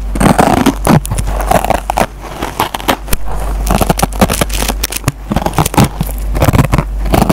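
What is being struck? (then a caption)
Nylon scouring pad on foam sponge. A metal-tipped pencil scratches and pokes the green nylon scouring pad on a yellow foam sponge. The result is a close, dense run of crackling, scraping bursts with quick, dry attacks, over a steady low hum throughout.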